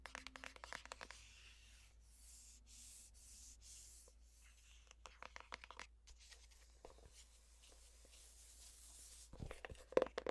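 Long painted nails scratch and rub across the flat paper-covered cardboard cover of a navy floral hardcover notebook or planner with a sticker label. Quick, dry scratching ticks come in bursts over a quieter steady rubbing hiss, ending with a few sharper, louder clicks.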